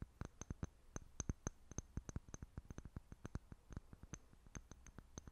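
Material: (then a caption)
Glass. A small, clear, apparently empty glass jar held in both hands is tapped and scratched with long fingernails. About 24 quiet, sharp, dry clicks and taps come in an uneven rapid series, each dying away almost at once. Each carries a faint bright glassy tick over a soft low thud.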